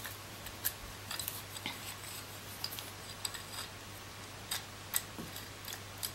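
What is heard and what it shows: Long nails tap the body of a coral plastic massager and scratch across its rows of white ridged rollers, making about a dozen sharp, bright, scissor-like clicks and short scrapes. The sounds are quiet and irregularly spaced over a steady low hum, and each one cuts off almost instantly.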